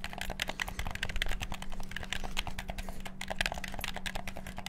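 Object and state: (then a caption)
Plastic game controller buttons clicked. Fingertips rapidly click the buttons on a black PS4-style plastic gamepad. A dense, fast stream of short, dry, bright clicks runs without pause over a steady low hum. The clicks stop almost instantly, with no ring.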